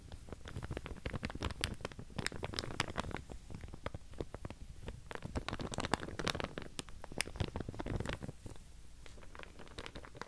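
Long painted nails run across and scratch the teeth of a large pink plastic wide-tooth comb held close to the microphone. Quick, crisp plastic ticks and scratchy clicks with bright edges come in dense, uneven bursts over a soft low rumble, and the scratching continues steadily throughout the clip.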